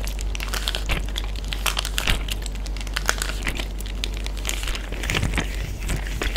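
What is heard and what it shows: A clear Ziploc bag full of water, with other bags at its edges, is tapped, patted and crinkled by a flat hand with fingertips and short nails. Continuous crinkly plastic rustle is dotted with quick, bright ticks and soft pats over a steady low hum, at an even level throughout.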